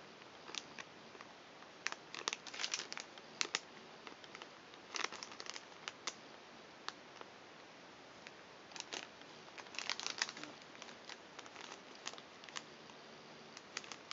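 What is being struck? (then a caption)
Foil-lined plastic snack pouch. An empty, flat, hand-sized green plastic/foil-lined Thinsations cookie pouch is held in both hands, turned over, and crinkled and flexed by fingertips with long nails. Quiet, bright, sharp crackles come in irregular bursts, densest in clusters around the second, fifth and tenth seconds, over a faint steady hiss. Each crinkle snaps off almost instantly with no ring.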